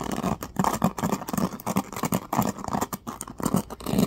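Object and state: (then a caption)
Plastic hairbrush bristles. Fingertips strum and scratch the teal-tipped bristle cushion of a small oval black plastic hairbrush. A rapid series of dry, scratchy patters comes out, with a soft low-mid body around 200 Hz and little high-end brightness. Each stroke ends quickly with almost no ring.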